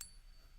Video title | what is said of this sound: The BEST ways to TEST for FAKE SILVER at home! #silverstacking | so it has definitely picked that up to be a silver coin